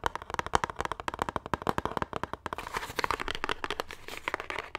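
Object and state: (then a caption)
Cardboard soap box. A small green Irish Spring cardboard bar-soap box, likely still holding the soap bar, is tapped and scratched quickly with fingertips and nails. Dry, short taps with a hollow knock near 950 Hz come in a fast, uneven run. They then blur into denser, brighter scratching that fills the second half with almost no ring after each stroke.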